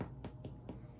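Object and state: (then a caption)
Soda bread loaf baked through (hollow). A freshly baked gluten-free Irish soda bread loaf is tapped three times in the oven after 30 to 40 minutes at 400 degrees. The taps are soft, low and short-lived over a steady background hum. The loaf sounds hollow, meaning it is done and ready to come out of the oven.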